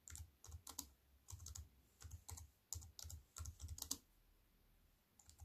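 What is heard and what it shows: Fingertips with white-painted nails type on a slim wireless keyboard with black plastic keys in a grey metal-look frame, lying on a wooden table. Short bursts of quick, clicky taps combine a soft low thud with a bright click, separated by brief pauses. The typing falls quiet for over a second before a few faint taps return at the end.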